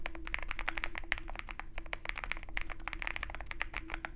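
Fingertips of both hands type continuously on a Zoom65 65% mechanical keyboard with white MT3 PBT keycaps and a dark aluminum case, resting on a desk mat with a wooden wrist rest. A rapid, steady stream of short, crisp clacks with a bright click centered around 2 kHz plays over a low, steady background hum.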